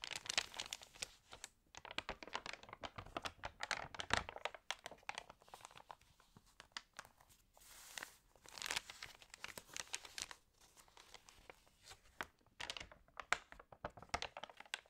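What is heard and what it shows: Hands rub and turn the wavy, water-damaged pages of an open paper home magazine. The result is a quiet, steady stream of dry, bright crinkling and rustling, with sharp crackles and brief pauses between page movements.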